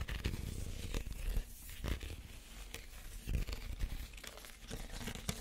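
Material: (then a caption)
Reed. Fingernails scratch across the woven surface of a small, empty woven reed basket. The result is a dry, crackling, papery rasp with a low, muffled body and short bursts of sharp, bright crinkles that die away almost instantly.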